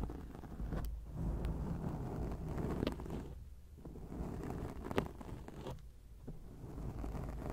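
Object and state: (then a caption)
Foam microphone windscreen being scratched. Long acrylic nails scratch a black foam microphone windscreen, producing a dense, muffled rumble of scraping that sits mostly in the low end. The scratching swells and dips in waves, with a few sharper ticks poking through.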